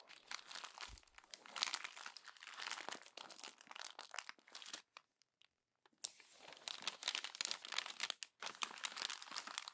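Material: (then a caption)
Glossy paper. A fist crumples the thin glossy pages of a paper magazine resting on a table. Dense, bright crinkling and crunching comes in bursts, with a near-silent pause around the five-to-six second mark before the crumpling resumes.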